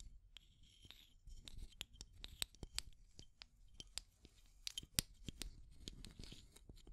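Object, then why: Small plastic tube with aluminium screw lid. Long nails scratch and tap a small clear plastic tube with pink contents and its aluminum screw lid, working over both the lid and the tube wall. About twenty short, sharp, bright scratching clicks sound in quick, uneven succession over a faint low rumble, each dying away almost instantly.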